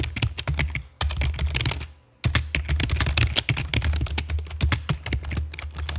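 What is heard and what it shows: A full-size black plastic computer keyboard with a hollow body and keycaps, resting on a stone table, is typed on with long fake nails and fingertips. Rapid, clicky taps carry a bright attack over a deep hollow thump. Two brief pauses break the otherwise continuous typing.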